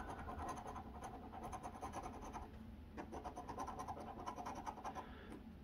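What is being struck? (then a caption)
Paper scratch-off ticket scraped with a coin edge. The edge of a copper coin scratches the latex coating off a flat cardboard Arkansas Lottery Double Cash scratch-off ticket, held by the fingertips on a wooden table. Rapid, uneven raspy strokes sit mostly in the midrange over a low background rumble. The scratching briefly eases around the midpoint, then resumes in a quick burst.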